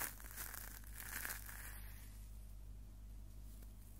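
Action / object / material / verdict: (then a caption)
scrape / stainless steel wire scouring pad / stainless steel / none. A small hollow-mesh stainless steel wire scouring pad is squeezed and crumpled between the fingertips close to the microphone. Bright, crinkly metallic rustling comes in bursts over the first second and a half, then fades to a faint scratchy texture over a steady low hum.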